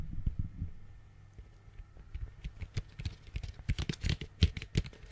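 Fingernails tap on the base and walls of an orange hollow plastic pumpkin bucket held close to the mic. The taps come as short, hollow, low thumps with faint bright clicks. They start sparse and quiet, then quicken into a denser, irregular patter that grows louder toward the end.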